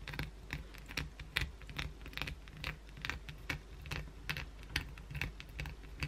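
Long pointed blue acrylic nails scratch grooves into a solid white oval bar of soap held in the hand. The scratches come as a quick, uneven series of short, dry, crisp bursts with bright scraping texture. A steady low hum runs underneath.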